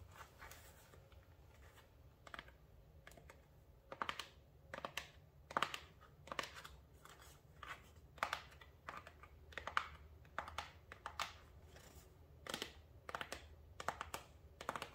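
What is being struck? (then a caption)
Small paperboard box. Long nails tap and scratch the surface of a small, hollow, dark blue printed paperboard product box held in the hands. Quiet, irregular bursts of crisp, dry clicks and scratchy brushing strokes centre around 1.2 kHz with bright edges, each dying away almost instantly over a faint low background hum.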